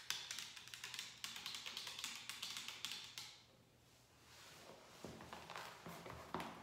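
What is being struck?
Plastic trigger spray bottle.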